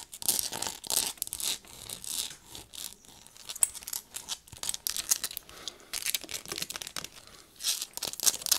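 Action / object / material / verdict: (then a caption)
scrape / rubber and plastic binoculars / rubber / none. Long nails rapidly tap and scratch the barrels and focus area of a pair of black binoculars, which have a rubberized and plastic body and a leather strap and are held in the hands. The sound is a quick, dense run of bright, dry ticks and scraping rasps with almost no low end, rising and falling in short bursts.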